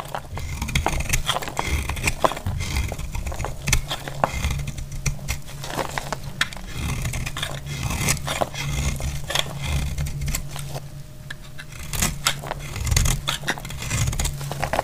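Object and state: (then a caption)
Dry bar soap being shaved. A solid, dry green bar of soap is shaved by hand with a utility blade, sending green flakes falling. The blade makes a rapid run of short, crisp scraping strokes with bright clicks over a steady low rumble.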